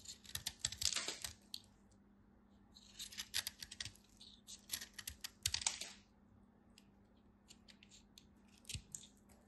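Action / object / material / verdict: scrape / bar of soap cut with a knife / soap / none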